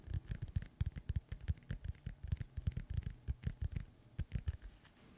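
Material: Synthetic leather.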